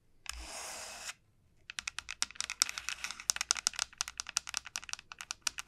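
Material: Dried gourd.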